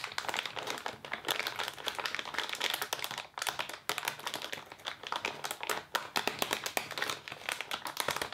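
Both hands pull and crinkle the thin clear plastic wrapper with a printed label around a green crepe paper streamer roll, using fingertips and nails as the roll is slid out. The result is dense, bright crackling and crinkling with many sharp, quick snaps, pausing briefly a couple of times before continuing steadily.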